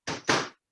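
Two short, bright knocks, the second louder, come from a microwaved corn tortilla tostada shell, each with a brief crackly ring. The shell is perfectly crisp.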